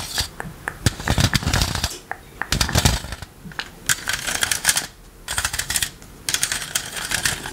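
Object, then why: Plastic electric fly swatter with metal mesh. A green plastic electric fly-swatter racket with a metal mesh, first held flat and then turned edge-on, has its mesh and rim tapped by rubber toy hands worn on the fingers. Quick, dry clicking taps come in dense, bright, crackly clusters separated by brief pauses, with some softer low thumps mixed in. Each tap dies away almost instantly.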